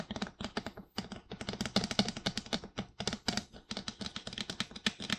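Fingertips quickly tap the sides and cheeks near the ears of a life-size, glossy white plastic dummy head microphone that seems hollow. The result is a fast, steady patter of dozens of crisp, dry clicks, each with a hollow low knock around 200 Hz and a bright tick on top. The taps come in bursts with brief pauses and die away almost instantly.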